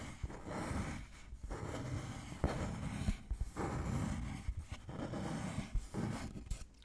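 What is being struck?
Thin wooden board.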